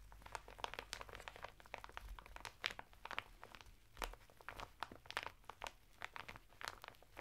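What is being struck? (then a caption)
Woven natural fibre bath mitt sealed in thin plastic packaging. Fingertips and nails scratch the textured surface of a flat bath mitt of coarse woven natural fibre, sealed in a thin printed plastic packet lying sideways on a table. The result is a quiet, rapid series of dry, bright crinkling and scratchy bursts with no ring, over a faint low hum.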